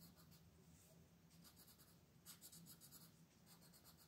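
A colored pencil tip rubs and scratches across a large, flat, printed paper coloring page lying on a table, held down by one hand with long painted nails while shading in small strokes. Quiet, bright scratchy bursts repeat in quick rhythmic strokes over a steady low hum, growing a little louder midway.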